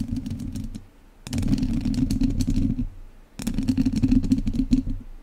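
The tips of two wooden chopsticks scratch the lower sides and top of an uncovered, hollow metal mesh microphone grille. Three bursts of dense, rapid scratching clatter are heard, separated by brief quieter pauses. The sound is boomy and heavy in the low end, around 250 Hz, with bright, crisp ticks layered on top.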